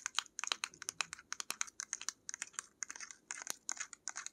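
Long nails tap and scratch a small pink-labelled paint tube with a black cap, which seems to be laminated plastic. A quick, uneven run of about 29 crisp, dry clicks and scratchy ticks sounds bright and thin, with no low end. Each one stops almost at once.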